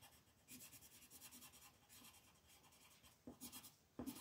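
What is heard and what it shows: A pink colored pencil is rubbed back and forth to shade a flat white paper mandala sheet on a table while the other hand holds the sheet. Soft, steady, scratchy rubbing strokes with a bright papery hiss are heard, with a few sharper, louder strokes toward the end.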